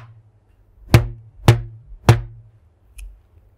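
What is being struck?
Stretched rubber band.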